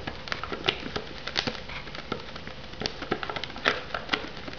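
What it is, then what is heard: Plastic-wrapped foam noodle cup. Long nails tap and scratch the lid and rim of an unopened, hollow white polystyrene instant noodle cup still shrink-wrapped in plastic film. Quick, dry, bright clicks and crinkly scrapes come in an irregular patter, each dying away almost at once, with a few sharper taps standing out.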